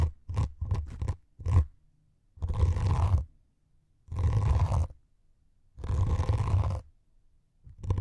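Two thin metal needles held in the fingertips poke and scratch the grey scouring foam top of a rectangular white melamine foam sponge held against the mic windscreens. A few quick, close, deep poking bursts give way to long, rough, rumbling scratches separated by pauses, all heavy in low end with no bright edge.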